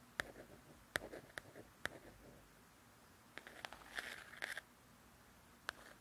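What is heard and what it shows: Long nails scratch and trace across the glossy paper cover of a softcover coloring book. Sharp, bright clicks with a pitch around 1.8 kHz are followed by brief scratchy rustles, separated by quiet pauses. The sound is soft, dry and close, with no ring after each contact.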